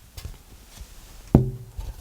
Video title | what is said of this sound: ERVIN SOMOGYI 01 - GUITAR MAKER - The Air Pump - Tap Tone | it doesn't have that ringing sustaining activity